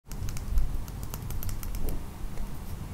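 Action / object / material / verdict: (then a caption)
tap / small clear resin dome ring filled with beads, tapped with fingernails / resin / none. Long blue-painted nails tap and scratch the hollow, clear domed top of a small ring filled with pink beads and set in a metal bezel. A steady run of quick, light clicking taps and scrapes plays over a low, dull rumble.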